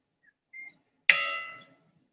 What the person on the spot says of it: Cualquiera diría que estoy pegando un trozo de metal.